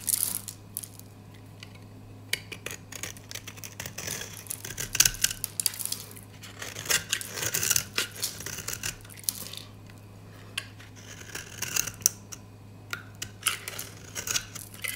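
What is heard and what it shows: A gold utility knife blade scrapes and shaves flakes off the edge of a solid rectangular dry white soap bar held in the hand. Bursts of dry, bright, crunchy scraping and crackling come in clusters with short quiet gaps between them, over a steady low hum.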